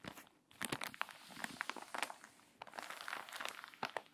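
Fingertips and long nails rub the pages of a wrinkled, water-damaged paper magazine, turn a page and press the spread flat. The result is a run of dry, bright crinkles and crunchy rustles with short crackling bursts and almost no low end.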